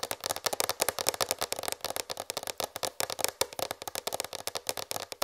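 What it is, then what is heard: Plastic tray tapped with fingernails. A large white plastic tray, held raised, is tapped by fingertips and long red fingernails. Rapid, light, clicky taps sound in dense bursts, bright and dry with almost no low end and very short decay. The tapping is continuous throughout.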